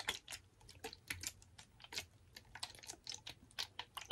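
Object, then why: Ridged plastic water bottle. Fingernails tap a rapid, uneven series of light, bright ticks on a clear, blue-tinted, ridged plastic water bottle, hollow and partly filled with water, held in one hand. Each tick is dry and clicky, dying away almost at once with no ring, and sounds much like typing on a keyboard.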